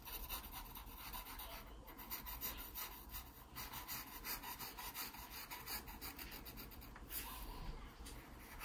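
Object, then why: Graphite pencil on paper sketchbook page. A wooden graphite pencil scratches strokes along the contour of a pear drawing on the page of an open paper sketchbook. The sound is a quiet, continuous, bright rasping scratch that swells and fades with each stroke over a steady low hum.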